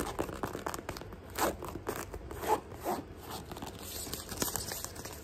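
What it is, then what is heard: Mesh sneaker scratched and tapped. Fingertips and nails scratch and tap an empty, hollow white sneaker held up by hand, working over its fabric mesh upper and the edge of its ridged synthetic sole. Rapid, dry, crinkly rasps and short scraping bursts mix with quick, muffled taps that die away almost instantly.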